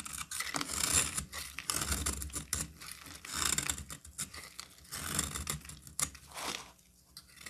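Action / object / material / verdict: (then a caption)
scrape / bar of soap cut with a knife / soap / none. A solid cream soap bar held in the hand is carved into thin shavings with a utility knife. Repeated crisp, bright scraping strokes come one after another, with soft, short cracks as the shavings curl away.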